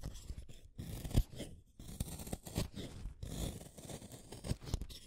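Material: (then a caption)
Wood. A small, solid orange wooden colored pencil is shaved with a utility knife blade in a series of short scraping strokes. Each pass makes a dry, crunchy shaving sound with sharp, quick-decaying clicks, and the energy sits mostly in the low end.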